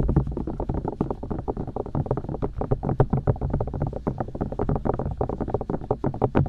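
Long dark nails rapidly tap and poke the silicone ears of a binaural microphone, which are mounted on white plastic discs. The result is a dense stream of dull, low, muffled thumps and soft rubbery pokes that stop almost instantly, with no bright edge.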